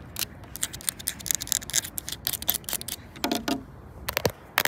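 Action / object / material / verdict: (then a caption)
scrape / painted plastic playground panel / plastic / none. Long acrylic nails scratch and tap the surface of a large, flat, solid green painted plastic panel with a red circle on outdoor playground equipment. A fast, uneven run of bright, dry clicks and short scrapes sits mostly in the high frequencies. Each hit stops at once with no ring.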